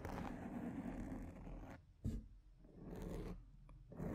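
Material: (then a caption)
Foam. Long painted nails, mostly from one hand at the side, scratch a large rounded black foam windscreen on a microphone. The result is a close, dense, low scratchy rustle in four bursts: a long sustained stretch, then a short sharp scrape, another extended scratch, and a final burst starting at the end.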